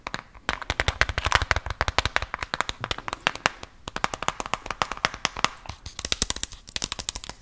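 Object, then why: Small plastic gum container. A small white translucent cylindrical plastic gum container with a red label and lid, holding pieces of gum, is tapped, scratched and rubbed with fingers and nails. It makes a rapid, steady run of crisp, bright clicking taps that die away almost instantly, with faint scratchy rubbing between them and short pauses near the start and midway.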